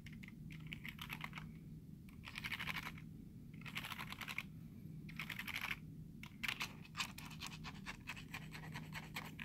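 Fingertips tap and nails scratch across the letter keys of a black plastic computer keyboard, making bursts of bright, rasping scratches that alternate with quick, dry clicks. A steady low hum runs underneath throughout.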